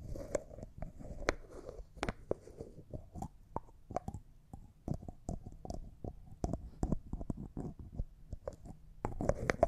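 A small, hollow, empty-looking clear jar that appears to be glass, with a white plastic screw lid, is held in both hands while the lid is twisted and tapped with fingernails. About two dozen short, crisp clicks and taps ring out, with a soft scraping rustle from the twisting between them. Each tap is dry and dies away almost at once.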